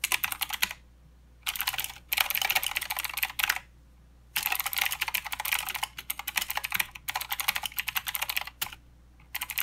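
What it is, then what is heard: Plastic mechanical keyboard. Both hands type with their fingertips on a mechanical keyboard with plastic keycaps and blue switches. They produce rapid, bright, clicky keystrokes in bursts separated by short pauses. A faint steady low hum sits underneath.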